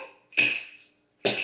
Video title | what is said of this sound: Play Date with Art: Super Senses | it makes a difference sound when it hits the top